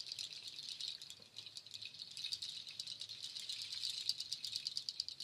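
A nut shell waterfall shaker is held high and shaken, then held by its cord loop handle. It gives a dense, bright, dry rattle of many quick clicking shells that runs steadily for about five seconds, with small swells in loudness and almost no low end.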